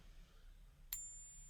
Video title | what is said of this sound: The BEST ways to TEST for FAKE SILVER at home! #silverstacking | that's a lot more a lot more high pitch and tingy